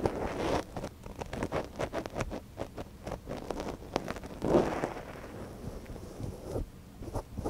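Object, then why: Silicone dummy ear of a binaural microphone, wooden ear pick. A thin wooden ear pick, held in a gloved hand, scratches inside the canal of a small, hollow white silicone dummy ear on a binaural microphone. A fast run of crisp, dry scrapes and rustling clicks is heard, with a fuller, louder rub midway, mostly in the low-mid range.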